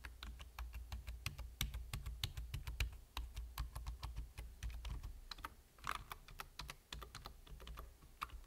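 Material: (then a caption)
Plastic. Rapid fingertip typing with short nails on a full-size black plastic computer keyboard with a hollow body and plastic keys. Quick, bright clicky key taps come in dense bursts over a steady low hum, with a brief pause and a slightly louder clatter near the end.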